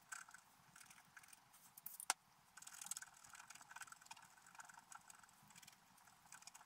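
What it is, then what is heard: Scratch art paper being scratched. A wooden stylus scratches details into a flat, black-coated scratch art paper page, making quiet, dry, papery scraping in short strokes. The sound is thin and bright with almost no low end, and one sharper click stands out near the two-second mark.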